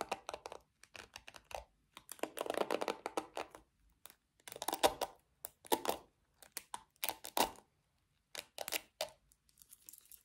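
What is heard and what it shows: Long nails scratch the bristles and body of a small pink plastic paddle hairbrush with black bristles. Dry, crinkly bursts of quick ticking and rasping start and stop in short runs, with no low end and a bright edge. Each scrape stops dead with no ring.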